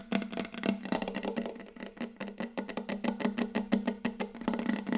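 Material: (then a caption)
Wood. Long yellow acrylic nail tips on both hands tap very rapidly on a large, solid, glossy wooden tabletop, close up. The result is a dense, uneven stream of short, dry clicks with a hollow, woody low resonance under each tap and a bright tick on top, with almost no ring between strikes.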